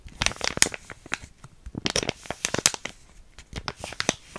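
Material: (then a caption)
Plastic foil. A small, flat, sealed plastic-foil hair mask sachet with yellow print, still filled, is scratched and crinkled with long painted nails and fingertips. Bright, crisp crinkles and sharp scratchy ticks come in uneven bursts with quiet gaps between them.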